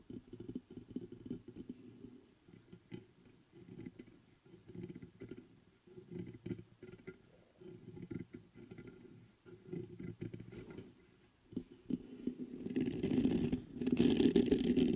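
Fingertips tap the body of a black metal USB microphone in soft, irregular bursts of low, muffled knocks centered around the low-mids. Near the end the fingers scratch the mesh grille, and the sound swells into a louder, denser scraping with a bright hiss on top.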